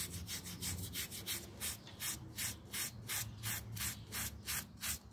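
A small, round, dirty miniature pile carpet lies flat on a tile floor, wet with some foam around it. It is held down by a thumb and scrubbed with a yellow plastic toothbrush in about 13 quick, steady back-and-forth strokes. Each stroke is a bright, bristly scratching swish over a faint low hum.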